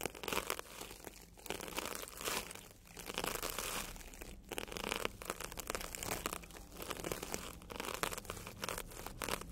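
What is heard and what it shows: A bristle tube brush is dragged along a red and yellow porous foam sponge, solid and soft, rubbing and scratching its surface. Dense, crinkly scratching with a bright, airy hiss comes in repeated swelling strokes, with brief quieter dips between passes.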